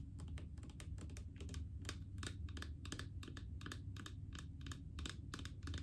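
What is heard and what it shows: Long painted fingernails tap rapidly on a large blue plastic mouthwash bottle full of liquid. The result is a steady stream of light, crisp clicks with bright tops and short decay over a constant low hum.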